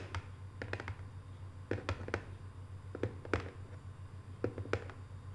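Long nails tap quickly, like typing, on the lid of a small, hollow, closed rectangular cardboard box covered in Paris photo prints. About fifteen short, dry, bright clicks arrive in uneven bursts over a steady low hum.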